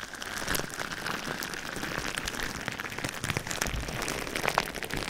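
Clear plastic bubble wrap wrapped around a microphone is rubbed and pressed with fingertips. A steady, dense crinkling rustle fills the clip, scattered with many short, sharp clicks and crackles that give it a bright, rain-like patter.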